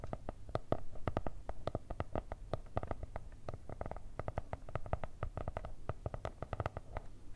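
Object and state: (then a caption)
Kraft cardboard notebook. Long red nails rapidly tap and scratch the kraft cardboard cover of a spiral-bound notebook with stickers, held upright. The result is a dense run of short, dull, papery taps with a low, hollow thump and quick decay, mixed with soft scratching in between.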